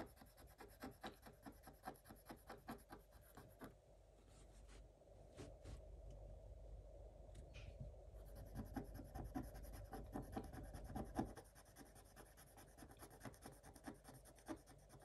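A thin wooden stylus held in the fingers scratches the black coating of a scratch-art paper page in a spiral book, making quick, repeated dry scraping strokes. Around the middle the strokes give way to a softer, continuous rubbing before the brisk scratching resumes and continues to the end.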